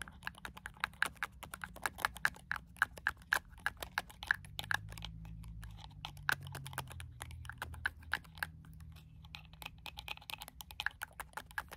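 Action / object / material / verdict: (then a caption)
tap / small plastic spray bottle / plastic / none. A small dark plastic sample spray bottle with a pink cap is held in the hand and tapped rapidly along its length with fingernails. Dozens of quick, light, clicky taps ring briefly with a bright tone near 1.5 kHz over a low, steady background hum.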